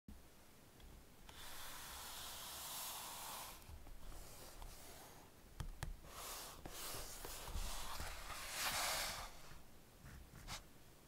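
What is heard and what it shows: Fingertips rub and stroke the glossy laminated card cover of a small, solid Ladybird hardback paper picture book, *Man and His Car*, producing soft, bright, hissy swishing swells over a low rumble. Several sharp little clicks from the firm cover punctuate the rubbing as the book is flipped over to its back cover, followed by more stroking.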